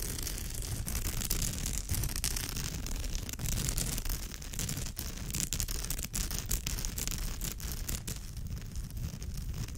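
Long nails scratch across the woven texture of a straw bag's surface. The result is a steady, dense, rasping scratch with a low rumbling body, bright crackly hiss on top, and brief dips between strokes throughout.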